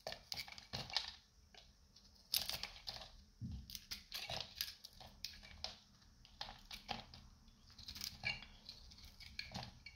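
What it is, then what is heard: Dried soap bar, dry and brittle. A metal utility knife blade shaves a solid, hand-sized, light blue dried soap bar with a dark, varnish-like coating, peeling off brittle flakes. Repeated crisp, crunchy scraping strokes crackle with bright, high texture and little low end, each stroke ending quickly.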